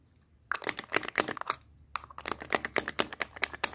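Long painted nails rapidly tap and scratch a small, hollow black plastic KIKO lipstick tube held in the hands. Quick, crisp clicks and light scraping come in two fast bursts separated by a brief pause, each tap bright, dry and dying away at once.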